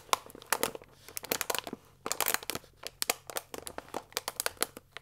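A full paper fusilli pasta bag with a plastic window lies flat while fingertips and nails press and scratch it. The result is quiet, irregular bursts of bright, dry crinkling and crackling, with short scratchy rustles between the crisp snaps.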